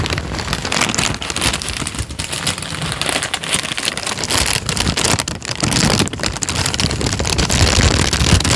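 A thin tan paper sheet is held flat, then crinkled and bent with the fingers. It makes a dense, continuous crackle of overlapping snaps and rustles with bright hiss on top and a soft low rumble underneath. The sound stays fairly steady, swelling slightly toward the end.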